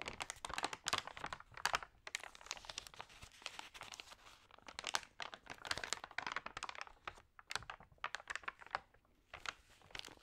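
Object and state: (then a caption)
Damp magazine pages being handled. Hands lift and turn the damp pages of an open, water-sprayed thin paper magazine, then rub them flat with fingertips. Quiet, bright crinkling and soft crackles come in quick, dense bursts with almost no low end.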